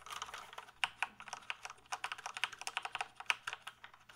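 Fingertips type on the keys of a full-size plastic gaming keyboard held tilted, producing a quick, uneven run of crisp, bright plastic clicks. Some keystrokes land harder than others. Each click is short and dry with almost no low end.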